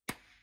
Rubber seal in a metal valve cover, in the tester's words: it's all about sound listen to the solid sound